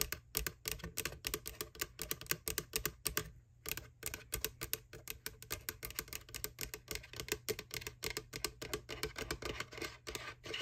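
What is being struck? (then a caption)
Small plastic candy bucket. Long nails scratch and tap across the flat inner lid area near the handle of a small, empty, hollow white plastic ghost bucket, a McDonald's Boo Bucket for Halloween candy. A rapid, steady stream of sharp, bright clicks and scrapes plays over a low steady hum, with a brief pause about a third of the way through.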